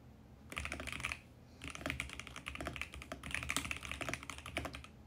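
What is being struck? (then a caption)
Mechanical keyboard with plastic keycaps. Fingertips type fast and continuously on a compact VGN X68 mechanical keyboard with purple and mint plastic keycaps. Quick, bright plastic clacks run in dense bursts, with a short pause after the first second. Each keystroke dies away almost at once.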